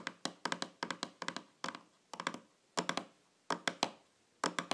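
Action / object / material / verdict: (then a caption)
tap / small round metal tin lid / metal / none. Long fingernails tap on the top of a small, shiny, round metal tin or lid lying flat on a table, making about 22 quick, bright clicking taps. The taps come in short bursts separated by brief pauses. Each has a light metallic tone with almost no low end and fades almost instantly.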